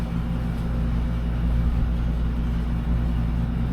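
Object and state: Nothing is struck.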